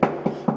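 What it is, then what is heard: Insulated plasterboard partition. Three knocks on a hollow plasterboard partition wall that separates rooms give dull, low-mid thuds centred around 220 Hz, with almost no bright content and a very short ring. The wall sounds insulated.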